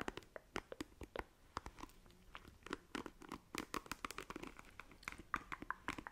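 Long nails scratch across the bristle cushion of a black plastic paddle hairbrush, making quiet, crisp, crackling scratches and clicks. Dozens of sharp, dry ticks come in irregular bursts with almost no ring, some bright and some more muffled, over a soft hiss.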